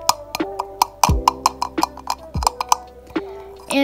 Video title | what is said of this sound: My Life As Pizzeria Play Set unboxing and Review! | if you tap on it it sounds like one of those um little plate like food things